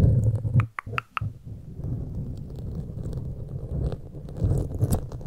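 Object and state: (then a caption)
Foam microphone windscreen scratched. Pointed metal claw fingertip extensions scratch the foam sides of a black foam windscreen on a large microphone. The result is a dense, low, muffled rumbling and rustling, broken early on by a few sharp, bright clicks before the scratching settles back into a steady low rumble.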